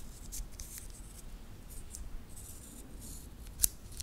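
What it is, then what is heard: Titanium watch band. A small solid titanium metal-link watch bracelet is held in both hands close to the recorder while the fingers flex it and click the links against each other. Soft, bright metallic rustling and ticking come in bursts over a low background rumble, with one sharp, crisp click standing out near the end.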